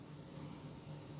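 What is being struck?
Nothing is struck.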